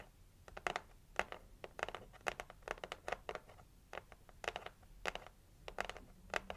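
Long acrylic nails scratch across the printed lid of a red, heart-shaped cardboard gift box. The result is a quick, irregular series of short, dry, bright scratches and taps with almost no ring or low end, set against a faint low hum.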